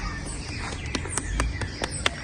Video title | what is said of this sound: Examen clínico semiologico completo en paciente equino - Javier Briceño | Tiene que ser un sonido seco, no va a haber ningún soplo, ninguna turbulencia.